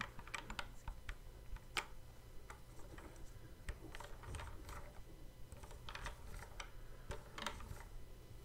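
Fingertips tap and click the fret buttons on the neck of a hollow, hard plastic Guitar Hero guitar controller. The result is a quick, irregular run of light, dry clicks and taps with bright edges that stop short, over a steady low background hum.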